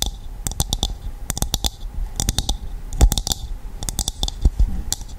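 A hollow, empty dried coconut shell half is tapped and scratched with long nails, giving a rapid run of short, dry clicks with bright high edges over a low, hollow knock. The taps come in quick bursts with scratchy rustle between them. Near the end the shell is tilted close to the mic, and a few hits sound louder and fuller.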